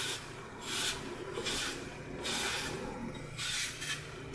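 A hand-sized solid green floral foam block with a red-gold glitter surface, held in one hand, is carved with a red utility knife. Crumbly, bright scraping strokes of the porous foam repeat in bursts, with a faint steady low hum underneath.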